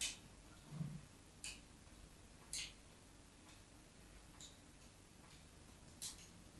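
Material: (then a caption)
Soap. A metal craft knife scratches lines into the surface of a solid white embossed bar of soap held in the hand. Short, bright scratching ticks come at irregular intervals over a quiet, low background hum.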